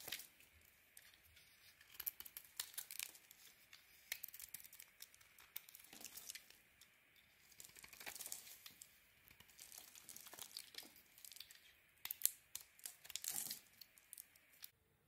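A metal blade scrapes the blue coating off a hand-sized solid white bar of soap, down to the white block. Quiet, bright, dry scraping and crinkly tearing sounds come in quick bursts, with almost no low end.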